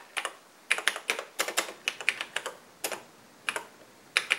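Fingertips of both hands type continuously on the black plastic keys of a vintage cream-colored Radio Shack portable computer (TRS-80 Model 100 style) with an LCD screen, resting on a workbench. About nineteen crisp, bright plastic clicks come in uneven bursts separated by short pauses. Each click dies away almost instantly, with no low-end thump.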